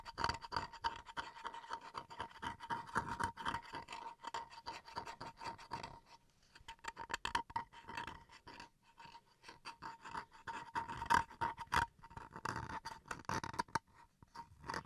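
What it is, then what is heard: Bamboo wood chopping board scratched. Fingernails scratch and tap the edge and face of a small solid bamboo wood chopping board, making dense, dry rasping strokes and quick clicks. The scratching comes in bursts with short lulls around 6 and 9 seconds, over a faint steady tone near 1 kHz.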